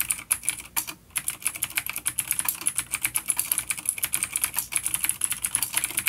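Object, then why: Plastic mechanical keyboard with clicky switches. Fast typing by both hands on a full-size dark plastic vintage mechanical keyboard with Cherry MX Blue clicky switches and grey keycaps, resting on a wooden desk. A rapid, steady stream of sharp, bright clicks with very short decay and almost no low end, with a brief pause about one second in.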